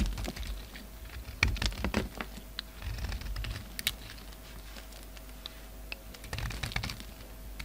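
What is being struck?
Bar of soap.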